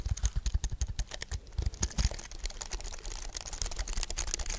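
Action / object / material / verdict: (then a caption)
tap / aluminium and plastic computer keyboard / plastic / none. A white wireless keyboard with a thin aluminium frame and plastic keys is held upright while fingertips and nails tap and press the keys. Quick, dry clicks come in a steady run with a thumpy low body and bright, sharp edges, each dying away almost instantly.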